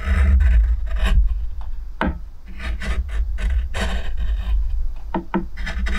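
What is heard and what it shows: A steel spoon gouge held in the fingers carves and scrapes near the rim of an oval pale wooden plate with a shallow hollow and visible grain. The result is a steady run of short, dry rasping strokes over a low, rumbling bed.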